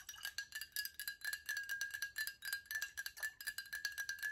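Long nails tap quickly and steadily on a tall glass water bottle with a silver cap, partly filled with liquid, striking both the glass and the cap. The quiet, light clicks ring with a short, bright glassy tone around 1.7 kHz that dies away almost instantly after each tap.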